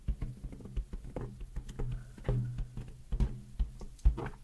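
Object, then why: Inflated latex balloon. A large, hollow, air-filled pink latex balloon is held in both hands in front of a microphone and tapped and rubbed with long nails and fingertips. The result is an irregular run of soft, deep, booming thumps that die away almost instantly, with faint rubbing and scratching in between and almost no bright content.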